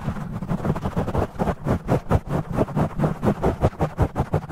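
Fingers grip, rub and scratch a black foam windscreen on a studio microphone, played back at double speed. The result is a fast, aggressive run of dense, muffled scratching bursts, mostly low and rumbly with little brightness. The bursts pulse rapidly one after another.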